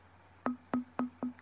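An antique Japanese satsuma stoneware vase marked Kinkozan is tapped four times, giving short, dull knocks with a low tone that die away almost at once. It thuds rather than rings like porcelain, as genuine satsuma should, because it is stoneware.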